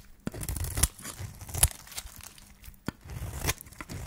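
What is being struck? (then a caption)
Soap bar cut with a metal blade. A solid yellow dry soap bar, held in the hand, is scraped and cut with a flat metal blade, and the shavings fall onto a pile. Dry scraping and tearing rasps carry bright, crisp crackle with a low rumbling body. Several sharp cuts stand out from the steadier scraping.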